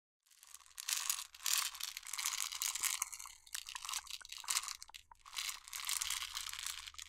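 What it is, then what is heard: Plastic jar of jelly beans, handled and tapped. A clear plastic jar full of jelly beans, with a yellow screw lid, is held in both hands, turned and handled while long nails tap on its label. The result is a bright, crinkly, crunching rustle broken by many quick, sharp clicks and taps, with almost no low end.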